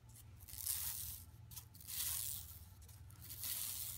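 Long nails scratch near the bottom edge of a flat, empty yellow woven plastic mesh tote bag lying on carpet. Bright, dry rasping swells in three longer strokes over a steady low hum.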